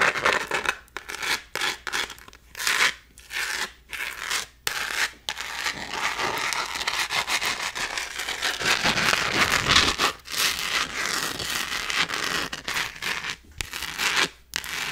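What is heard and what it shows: Long nails scratch and rub across a small, thin, gold glitter-textured plastic phone case. Bright, gritty scraping strokes come in quick bursts separated by brief silences, with a longer stretch of continuous rubbing in the middle. The sound is mostly high, with almost no low end.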